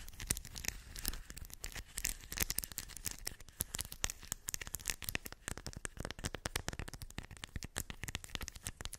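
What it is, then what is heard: Metal beads in a cork coaster. Long white acrylic nails scratch and tap across small shiny silver metallic beads filling a round cork coaster. A dense, rapid stream of sharp clicks and crackly rattling runs steadily throughout, bright on top with a soft low rumble underneath, each tick dying away almost instantly.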